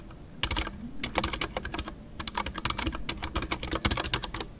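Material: Plastic.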